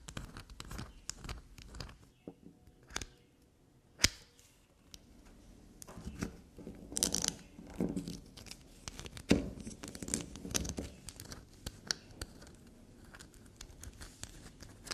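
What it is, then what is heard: Black soap bar being scraped. Long nails scrape and dig into the heavily scraped face of a small, solid black soap bar, leaving soap shavings scattered on the table. Quick, dry scratching and crumbly tearing sounds mix with sharp, bright clicks and soft taps. The scraping is sparse at first and then grows denser and more continuous.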